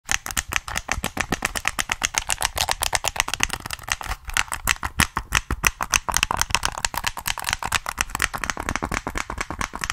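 Fingertips tap and click the buttons and body of a hollow black plastic PS3 game controller, held in both hands close to the mic. A fast, steady stream of short, dry clicks and taps with bright, high plastic tones and almost no ring.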